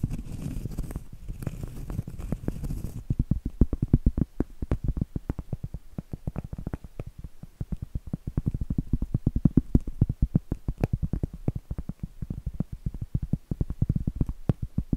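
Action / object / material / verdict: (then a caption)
tap / cork trivet / cork / none. Long acrylic nails scratch and tap the face of a round, flat, solid cork trivet held upright. The first few seconds are a soft, hissing scratch; after that come rapid, dense, dull taps that are heavy in the low end and die away almost instantly.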